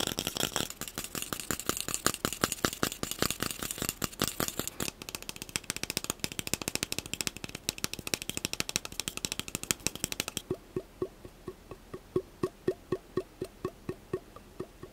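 A long, hollow, empty cardboard tube from a roll of plastic wrap is held in the hands and quickly tapped and scratched with fingertips and short nails. For about ten seconds, rapid, dense tapping blends with a bright, hissy scratching. Then the hiss drops away, leaving slower, dry, hollow taps with a low, woody ring.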